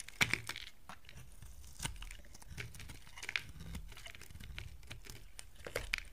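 A box cutter blade shaves pieces off a solid, dry yellow bar of soap, now narrowed and held in the hand. Crisp, bright scraping and crunchy cutting sounds come in short bursts with sharp clicks, separated by quieter stretches of faint rasping.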